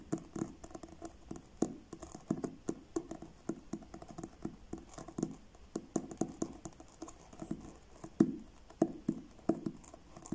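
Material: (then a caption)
Card. Fingertips tap on the front cover of a blue card-covered paperback book, making a long run of soft, short, dull taps in an irregular, unhurried rhythm. Each tap has a low-mid body and dies away almost instantly, with a few louder knocks standing out from the quieter ones.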